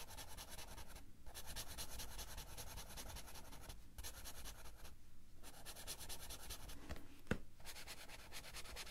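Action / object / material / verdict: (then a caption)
scrape / felt-tip marker on paper coloring book / paper / none. A blue felt-tip marker rubs quickly back and forth over the page of an open paper coloring book on a table, filling in colour. The result is a steady, dense, scratchy rubbing with short pauses between strokes and one sharp tick near the end.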